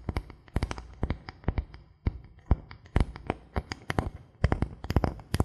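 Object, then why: Thin bamboo board. A thin solid bamboo board held in both hands is tapped and scratched with the fingertips. Rapid, irregular taps give dry, dull low knocks with short bright clicks that die away almost instantly, while soft scratching fills the gaps between them.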